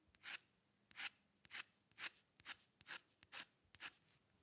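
A metal dip pen nib on a wooden holder scratches short lines into a thin white paper sheet bearing an ink drawing, lying flat on a dark table. Quiet, dry, high-pitched scratchy strokes come in an uneven run of about two per second, each one brief with no ring, separated by faint taps and near-silence.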